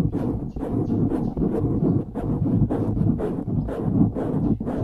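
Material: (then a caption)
Foam. Fingers squeeze and then scratch the sides of a dark grey foam windscreen on a microphone. This makes a dense, muffled rustling and crackling, heavy in the low end. Repeated scratching strokes swell and fade without any clear ring.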